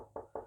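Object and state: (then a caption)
Solid centre block of a semi-hollow guitar. Three quick knocks on the maple center block of an Epiphone Sheraton Pro 2 semi-hollow guitar body, each a short, dull midrange thud centered around 450 Hz that dies away fast. The wood block running through the body makes it sound solid rather than hollow.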